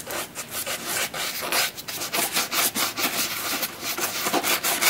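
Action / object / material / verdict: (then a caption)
scrape / leather boot upper brushed with a bristle brush / leather / none. A wooden-handled bristle brush is worked in close-up strokes over the smooth black leather upper of a boot near its metal eyelets. The result is a steady, bright, dry scratching swish that rises and falls with each stroke and carries almost no low end.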